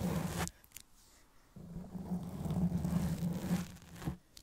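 Long press-on nails scratch slowly over the black foam windscreen covering the head of a silver Blue Yeti microphone, soft porous foam stretched over a hollow grille. The result is a deep, muffled, rumbling scrape with a low droning tone near 200 Hz and almost no bright content. A short burst of scratching is followed by a quiet pause, then a longer stretch of continuous scratching that fades out.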